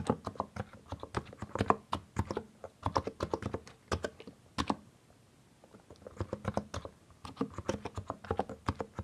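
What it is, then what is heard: Mechanical keyboard with plastic keycaps. A compact mechanical keyboard with a white case and colored plastic keycaps is typed on with the fingertips of both hands. Quick, short clicks and clacks come in bursts, with a brief pause of near silence midway before the typing resumes.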